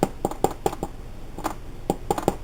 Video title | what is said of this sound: Easy Food Storage French Bread | When your bread comes out and it sounds hollow, it's done.